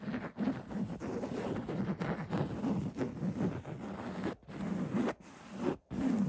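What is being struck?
Linen fabric throw pillow.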